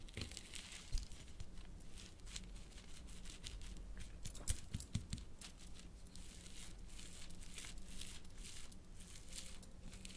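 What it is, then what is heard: Crushed water gel beads. A metal fork held in a hand with long painted nails repeatedly crushes and scrapes a pile of wet, blue, water-filled hydrogel bead fragments on a plastic sheet. The result is a continuous, quiet, squelchy crackle with bright, wet crunching bursts over a low rumble, and a few sharper crunches stand out near the start and middle.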